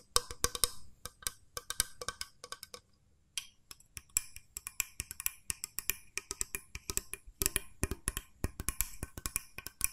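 Long nails tap rapidly on a small, hollow, cream-coloured plastic mooncake press mold, striking both its plastic body and its spring plunger. The taps are dry, bright and clicky, with almost no ring, and come in quick irregular bursts with a short pause about three seconds in.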